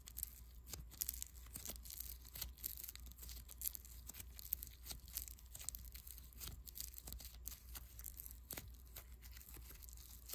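A small, soft, solid lump of white foam bead clay is pinched and rubbed between a thumb and fingertips. Quiet, dense crackling and crinkling comes through as a stream of tiny sharp pops and clicks with a bright, hissy top, over a steady low hum.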